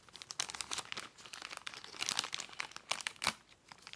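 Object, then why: Plastic poly mailer envelope. Fingertips touch and scratch along the edges of a filled white Amazon plastic poly mailer lying on a table, making crinkling sounds. Bright, dry crackles and rustles come in irregular bursts with almost no low end, and each sound stops abruptly. Quiet rustling fills the gaps between the louder crinkles.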